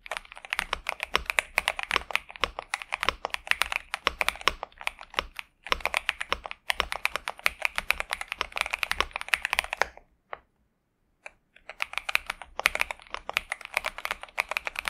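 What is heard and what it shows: A pink and purple 65% Xinmeng M71 mechanical keyboard with TTC Superman switches and plastic keycaps, resting on a desk mat, is typed on continuously with the fingertips of both hands. Rapid, crisp, bright clacks run in dense bursts, with brief pauses near 5.5 and 6.5 seconds and a longer silence around 10 to 11.5 seconds before the typing resumes. The result is a pleasant, steady keyboard sound.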